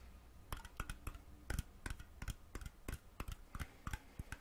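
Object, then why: Thin metal jar lid. A round, thin, hollow metal mason jar lid, taken off its jar and held in the fingers, is tapped and scratched with fingernails. About eighteen quick, dry taps come in irregular bursts, each a sharp click with a low thump and a faint bright edge that dies almost at once, over a soft scratchy hiss.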